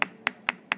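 The petrous (rock) part of the temporal bone on a skull model is tapped four times, giving short, sharp, bright clicks centered around 2 kHz that die away almost instantly. The hard, clipped sound reflects the solid, dense petrous bone, as opposed to the thin squamous part.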